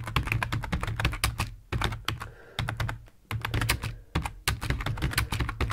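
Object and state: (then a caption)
Plastic computer keyboard. Fingertips of both hands type on a full-size black plastic computer keyboard resting on a wooden desk. Rapid bursts of short, dry key clicks with a deep, thumpy low end are broken by a few brief pauses, and each keystroke dies away almost instantly.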